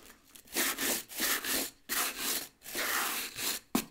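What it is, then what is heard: Rubber boot sole being brushed. The rubber tread sole of a solid tan nubuck work boot is held up and vigorously brushed with a wooden-backed dark bristle brush. Repeated back-and-forth scrubbing strokes make a bright, hissy rasp, with short gaps between bursts and a sharp tap near the end.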